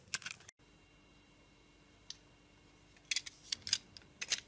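A metal utility knife blade carves a hand-sized solid striped soap bar, held in the palm, into small cubes. About ten short, bright, crisp cutting and scraping clicks come in an irregular pattern: a quick cluster at the start, one isolated cut after a pause, then a denser run near the end. A faint steady hum sits underneath.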